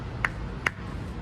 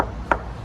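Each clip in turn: First: solid battery pack casing. Second: hollow carbon fiber car frame.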